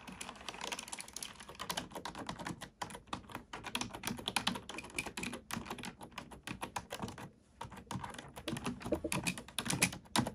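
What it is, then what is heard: Plastic computer keyboard being typed on. Fingertips with short natural nails type steadily on a full-size black plastic computer keyboard with hollow plastic keys, resting on a wooden table. Rapid, bright, clicky keystrokes are heard with a slightly hollow low thump, pausing briefly around the three- and seven-second marks before continuing.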